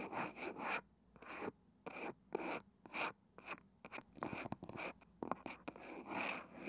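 Long nails scratch the pale wooden lid of a palm-sized round wooden box with a ridged, woven side, making bursts of dry, bright scraping separated by short silences. Fingertips then tap the lid, adding quick, sharp knocks that die away almost at once between further scratches.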